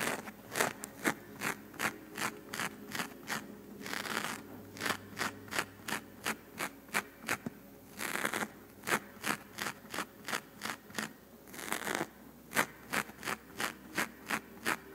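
Long fingernails on one hand scratch and rub the side of a black foam microphone windscreen, making quick, dry scratching strokes that repeat at a fairly steady pace. Three longer, brighter rubbing passes break up the pattern. Each stroke is short and bright with almost no low end, and the sound stops as soon as each stroke ends.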